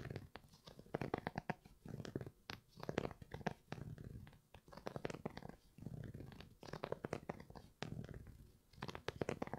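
Fingernails scratch and rub the knit upper of an empty grey Primeknit textile sneaker (Yeezy 350 V2) held in one hand. The result is quiet, dense bursts of short, dry scratching and rubbing, heavy in the lows and low mids, with brief pauses between passes.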